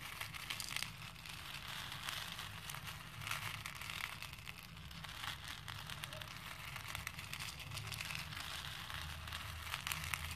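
Fingertips with dark-painted nails press and rub through a pink plastic bowl full of small cream plastic faux pearl beads. The beads clink and rattle in a dense, continuous stream of bright, crisp little clicks over a faint low rumble.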